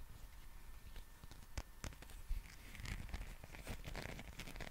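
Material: Rubber.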